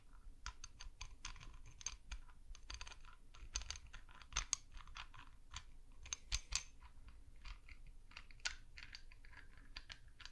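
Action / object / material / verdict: scrape / spiky spiral seashell scraped with a wooden stick / shell / none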